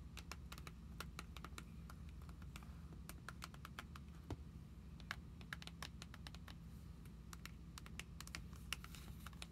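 Long nails tap and scratch across paper trading cards held in the clear plastic pockets of an open binder's sleeve pages. The result is a rapid, irregular series of short, sharp clicks with brief scratchy drags, set over a quiet, steady low hum.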